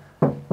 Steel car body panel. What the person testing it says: it sounds tinny doesn't it